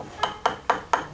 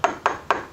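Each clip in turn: First: hollow-sounding plaster. Second: hard ceramic-like resin plaster face cast.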